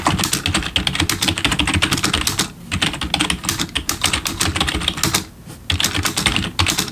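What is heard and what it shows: Fingertips press the keys of a black plastic backlit computer keyboard resting on a wooden desk in steady typing. Rapid, bright plastic clicks with a soft low thud beneath, with brief pauses around the middle and near the end before the typing resumes.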